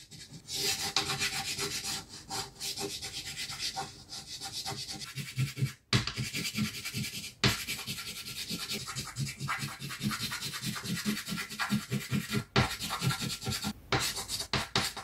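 A green chalk stick held in the fingers is rubbed in circular scribbles across a flat, solid black chalkboard sheet on a table to fill in tree crowns. The result is a steady, bright, gritty scratching and rubbing with a low, textured undertone, broken by a few brief pauses as the chalk lifts off the board.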